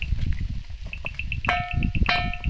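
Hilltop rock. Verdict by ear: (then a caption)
Ringing. A rock on a hilltop is struck at its end and gives a metallic, iron-like ring instead of a normal dull knock. Two sharp strikes ring out with clear, sustained metallic tones, over steady low rumbling and a repeating high chirp.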